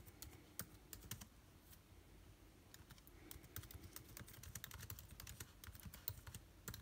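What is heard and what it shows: Fingertips of both hands type rapidly on a backlit MacBook Air laptop keyboard with plastic keys. A quiet, quick stream of short, bright key clicks with soft low thumps underneath, coming in uneven bursts with brief pauses.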